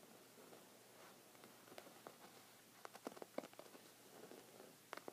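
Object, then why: Thick knit fabric rug. Short red fingernails scratch a thick cream textured woven rug of soft fabric, making a quiet, soft scratching rustle. About seven brief, sharper scrapes stand out above the low, steady hiss of the fabric.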